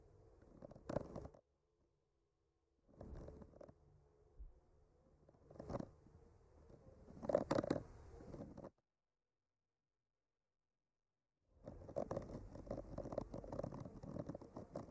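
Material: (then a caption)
Wood. A long bamboo skewer with a clipped-on mic gently scratches and traces across the painted branches of a flat, solid painted wooden art panel. Soft, dry scratching comes in short quiet bursts with a faint mid-range hum and some brighter rasps, separated by near-silent pauses. A longer scratching passage near the end is followed by one last silent gap before it resumes.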